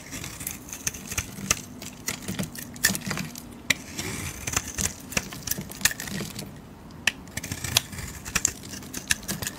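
A metal blade shaves and scrapes curls off a hand-sized, solid brown Camay soap bar with a painted floral coating, held in a hand with dark red nails. A rapid, irregular series of crisp, bright, crackly scraping clicks sounds over a faint low rumble, each dying away almost instantly.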